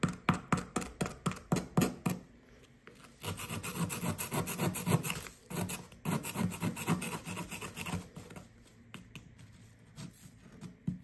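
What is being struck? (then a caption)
Compressed sand dig block scraped with a plastic chisel. A blue plastic chisel scrapes and pokes at a solid blue compressed sand dig brick with a small hole dug into it. A quick run of short, rasping strokes gives way to longer, steady gritty scraping, then softer scratches and one last sharp scrape.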